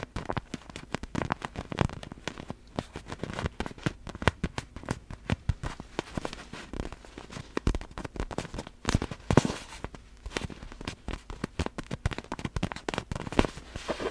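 Long black fingernails on both hands tap and scratch a large, hollow, clear plastic (vinyl) inflatable glitter ball. The result is a rapid, dense stream of short, dry crackling taps with no ring after them, mixed with soft scratching. The taps are weighted toward a low, hollow thump.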